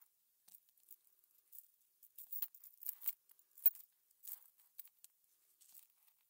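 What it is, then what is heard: Metal cover-button backs. A metal pin sorts and pushes a cluster of small, hollow silver metal cover-button backs across a blue cutting mat. The result is quiet, dense, bright metallic clinks and light scrapes that come in irregular bursts. Each is very short and mostly high in pitch, with almost no low end.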